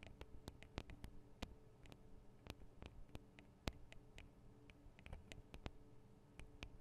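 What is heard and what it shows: Long decorated acrylic nail tips tap rapidly on the metal and plastic microphone capsules of a Tascam DR-40 recorder. The result is a quiet, irregular stream of sharp, very short clicks with bright tops over a steady low hum.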